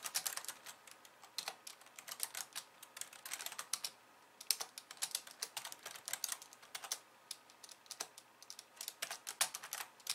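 Long nails type fast with both hands on a slim pink plastic keyboard with white keys. The result is a steady run of quick, bright, clicky keystrokes with very short decay and almost no low end, and a brief pause near the middle.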